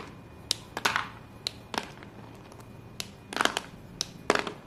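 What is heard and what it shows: Chalk-covered hands pick up small solid white chalk pieces and squeeze them over a pile of white chalk, crushing and rubbing them. Sharp, bright crunches and snaps come in quick bursts, with gritty crumbling between them and almost no ring. Quiet pauses fall between the bursts.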